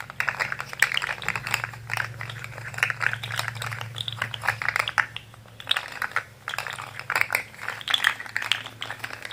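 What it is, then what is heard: Plastic fidget slug toy. Fingers twist and bend a rainbow plastic jointed fidget slug with an orange head and hollow segments, making the segments click. Dense bursts of bright, dry plastic clicks and rattles come in quick clusters with brief pauses between them, over a faint low hum.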